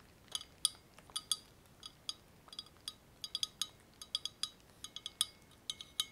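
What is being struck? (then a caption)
Glass laboratory tube with ground-glass joint. A long, thin, hollow, empty clear glass laboratory tube (a condenser/adapter) with a frosted ground-glass joint end is held over bubble wrap and handled and tapped with fingertips and nails. About 23 separate, sharp glassy clinks ring bright around 3.4 kHz with high overtones. Each decays almost instantly over a quiet background.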